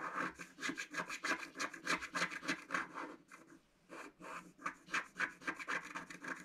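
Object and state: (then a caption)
Scratch-art paper being scratched. A wooden stylus scratches fine lines into the black coating of a scratch-art card in a book lying flat. Quick, short, dry strokes rasp in a fairly uneven rhythm, with bright hiss over a mid-range scrape. They pause briefly just before the four-second mark, then resume.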